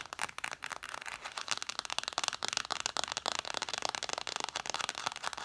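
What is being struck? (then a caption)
Stack of cloth-bound hardcover books. Long nails tap rapidly on the spines and top cover of a stack of red cloth-bound vintage hardcover books. The result is a dense stream of dry, crisp clicks with bright, papery highs, almost no low end and no ring after each tap.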